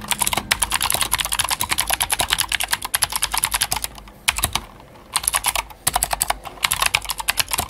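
Fast two-handed typing on a Glorious GMMK White Ice, a full-size white mechanical keyboard with plastic keycaps and clicky Gateron Blue switches, resting on a black desk mat. Bright, sharp clicks come in quick bursts with short pauses near the middle. Each click is crisp and dies away almost instantly, with little low-end thud.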